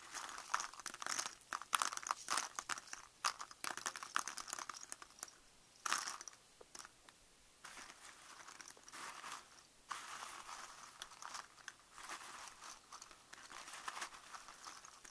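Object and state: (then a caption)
Pile of wooden craft matchsticks. A loose heap of small, thin, solid wooden craft matchsticks without heads, poured onto newspaper, is raked and stirred by fingertips with painted nails. Dense, bright clattering and crinkly rustling of the sticks knocking against each other and the paper come in bursts of many quick ticks, with quieter, steadier stirring in the second half.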